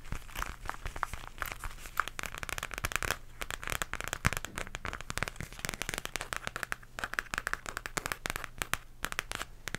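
A flat pink embossed zipper pouch of textured faux leather is tapped and scratched with long nails. The result is a dense, continuous run of sharp, dry clicks and crackly scratching with a bright, crisp edge. A faint low steady hum sits underneath.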